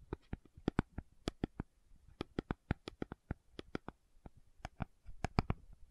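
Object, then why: Small cardboard carton. Long nails tap and scratch a small, hollow, rectangular pink cardboard sunscreen box held in both hands. The result is a rapid, irregular series of about two dozen sharp, dry clicks with a soft, low, hollow body, each dying away almost instantly over faint scratching between the taps.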